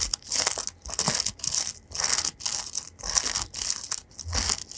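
Fingertips scratch and strum across the metal pin bristles of an oval paddle hairbrush with a white rim, held up in both hands. A run of bright, crackly, scratchy strokes rises and falls in short bursts, mostly high-pitched with almost no low end.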